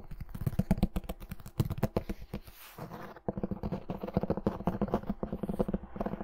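Long nails tap and scratch the gilt-embossed cover of a medium red hardcover book, solid and closed, held in one hand. Quick, dry, low-toned taps come in rapid runs, easing into a softer scratchy patch around the middle before the tapping picks up again. Each tap dies away almost instantly.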